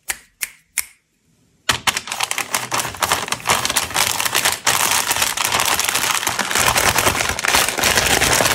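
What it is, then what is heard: Plastic candy bag. Fingertips tap three times on a large, flat, purple printed plastic-film Cadbury selection bag full of wrapped chocolates, lying on artificial grass. After a short pause, the hands grip the bag's edges, producing a dense, continuous, bright crinkling of plastic film.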